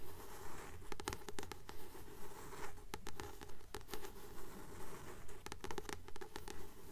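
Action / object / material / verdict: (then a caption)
tap / paperback book with glossy card cover / paper, card / none. Long nails tap and scratch the glossy card cover of a blue paperback book held in both hands. Quick, steady, dry taps come at an even pace, mixed with soft scratching over a faint low hum.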